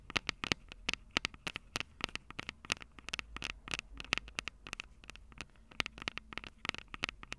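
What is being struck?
Metal mesh microphone capsules on a handheld recorder.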